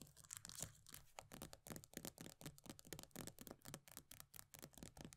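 Long nails rapidly scratch and tap the pale green plastic base of an upside-down body butter tub with a paper label. The result is a quick run of short, dry, bright clicks and scratchy rasps over a faint low hum, each sound stopping almost at once.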